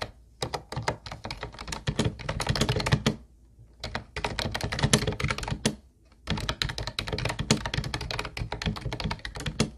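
Both hands type rapidly with their fingertips on the round white plastic keys of a hollow teal plastic Ubotie keyboard. Dense bursts of clacky, hollow taps with a low thunky body and bright clicks come in three runs, separated by two brief pauses.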